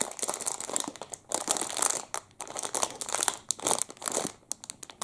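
A clear, crinkly plastic wrapper around a full, hand-sized Double Chocolate muffin is crinkled and rubbed between the fingertips of both hands. Dense, bright crackling and crunching come in quick bursts with short pauses between them. There is almost no low end.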